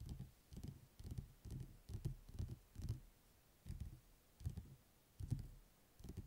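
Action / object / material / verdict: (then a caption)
tap / paperback book with a glossy paper cover / paper / none. Fingertips and nails tap rapidly on the glossy printed paper cover of a thick, closed paperback book lying on a table. The result is soft, dull, low thuds in quick irregular bursts with faint clicky edges, each dying away almost at once, separated by short quiet gaps.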